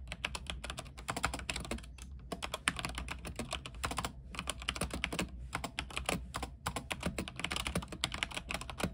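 Both hands type rapidly with their fingertips on a backlit mechanical keyboard with white plastic keycaps on an aluminium frame. The result is a dense stream of sharp, bright clacks with very short decay. Brief pauses fall near 2, 4 and 6.5 seconds, over a steady low hum.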